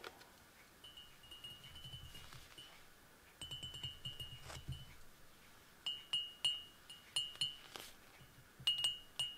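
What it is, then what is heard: Glass coffee mug. Fingers and fingernails tap an empty, hollow clear glass footed Irish coffee mug with a handle, standing on a cork table. Each tap gives a bright, ringing chime-like tone around 2.9 kHz that fades quickly, some in soft clusters and others as sharper separate strikes. Faint low rumbles sit underneath.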